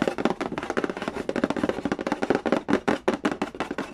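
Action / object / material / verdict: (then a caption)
tap / cardboard game box / cardboard / none. Fingertips and nails tap quickly and trace across the lid of a hollow, printed cardboard Candy Land game box resting on a wooden floor. About twenty rapid, dry, hollow knocks sit in the low mids with a light scratchy texture. Each knock dies away almost instantly, with little bass or high-end sparkle.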